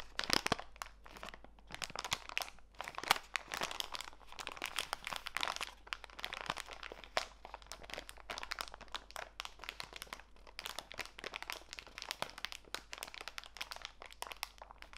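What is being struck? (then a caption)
Clear plastic bag of walnut pieces. A small clear plastic bag full of walnut pieces is rubbed and squeezed by fingertips with long nails. The result is a steady, bright crinkling and crunching of plastic and nut pieces that runs the whole time, with dense quick clicks and no ringing.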